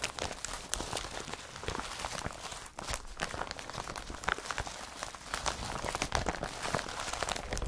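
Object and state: Woven polypropylene carrier bag.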